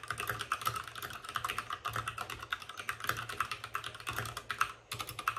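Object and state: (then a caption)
Plastic mechanical keyboard. Fingertips of both hands type fast on a white RGB-backlit mechanical keyboard with plastic keycaps and a hollow plastic case. The result is a steady, rapid stream of short, dry, bright clacks centered around 1.3 kHz, with almost no ring and little low end. There is a brief pause near the end before the typing resumes.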